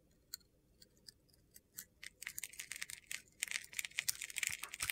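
A utility-knife blade scrapes flakes off a hand-sized solid bar of soap held in the hand, which has a silver glitter coating over a white interior. A few sparse, crisp scrapes in the first two seconds give way to a dense run of quick, gritty, crunchy strokes that grow louder. Each stroke is short and dry, with bright, high hiss and almost no low end.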